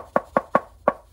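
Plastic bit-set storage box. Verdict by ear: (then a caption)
Solid. Four sharp knocks on a Würth Zebra bit-set storage box produce short, dry mid-pitched thuds with almost no ring. The box sounds solid and high quality, more heavy duty and industrial than the Toptul box.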